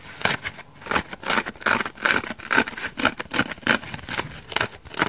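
A dry elliptical bath sponge of coarse orange foam with a white foam layer, held in one hand, is scratched and picked at with long dark nails, and the foam may be starting to tear. Quick, bright, crackly scrapes come in a rapid uneven series of short bursts with almost no low end and no ring after each stroke.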